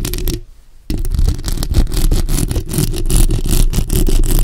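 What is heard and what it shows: Long acrylic nail tips tap and scratch the top and sides of a bare black microphone's hollow metal mesh grille. A dense, boomy rumble of scraping and tapping drops to near silence for a moment, then resumes as fast, irregular scratching that stays heavy in the low end.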